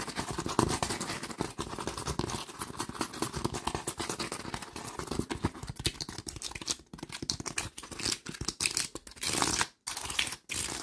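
Fingertips and nails scratch and tap quickly across the surface of a creased brown honeycomb cardboard sheet with a hollow core. The result is a dense, crackly stream of dry scraping and light papery taps that stays bright and busy throughout. It breaks into a few short silent gaps near the end.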